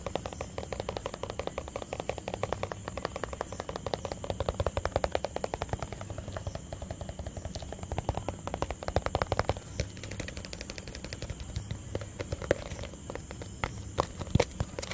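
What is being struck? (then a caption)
Small round plastic tub. A small, round, hollow white plastic tub that appears empty is held near the microphone and tapped with fingertips and nails. A rapid, steady stream of short, dry taps mixes hollow low thumps with sharper clicky nail ticks, each dying away almost at once. A few louder taps stand out near the end.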